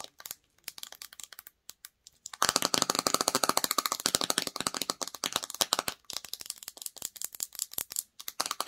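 Long nails tap and scratch the sides, paper label and clear lid of a small clear plastic jar filled with red peach slime. Sparse, light clicks for the first two seconds give way to a dense, bright run of rapid crackling taps and scratches. It eases briefly around six seconds, then resumes as quick, dry ticking.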